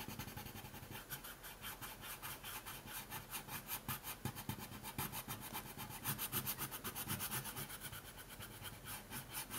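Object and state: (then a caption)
Pencil coloring on paper. A dark colored pencil held in the fingers is rubbed and scratched back and forth across a thin printed coloring sheet lying on a wooden table. It makes a steady run of quick, dry, bright scratching strokes that grow slightly louder in the middle of the clip before easing off again.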